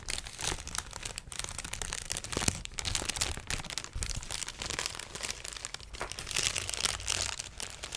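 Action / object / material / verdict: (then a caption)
scrape / plastic air-pillow packaging sheet / plastic / none. A large sheet of clear plastic inflatable air-pillow packaging is crinkled and scratched with long dark nails and fingertips. The result is a steady, dense stream of bright, crackly crinkling, with short sharp snaps and swells of louder rustling throughout.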